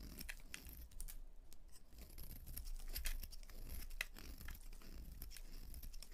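A utility knife blade carves into the face and edges of a solid white bar of soap held in hands with purple nails, cutting and scraping as white shavings fall away. Quiet, dense, crisp scraping and shaving ticks come in rapid, irregular bursts, with a steady low hum underneath.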